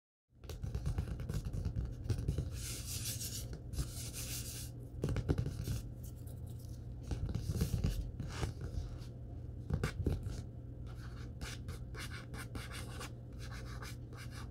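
Fingertips and short nails tap and scratch across the glossy card front cover of a thick, closed Star Wars paperback lying flat on a wooden table. The result is a steady run of soft, dull taps over the solid block of paper, with bursts of dry, hissy scratching in between.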